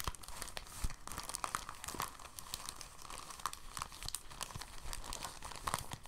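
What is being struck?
Thin plastic bag.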